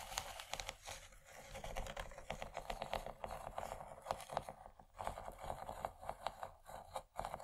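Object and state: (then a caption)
Textured plastic tray. A large, empty, yellow textured plastic tray is scratched with long nails along its raised texture. The result is a quiet, dense series of short, dry raspy clicks and scrapes centred in the upper mids with some bright edge, and a few brief pauses between strokes.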